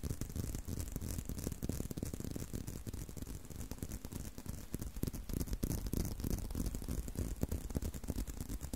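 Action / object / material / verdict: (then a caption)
tap / leather belt / leather / none. Fingertips tap and scratch a solid tan-brown leather belt held in a loop close to the mic. The result is a steady, fairly quiet stream of soft, dry, low thumps that die away instantly, mixed with a faint rough scratching and a light hiss on top.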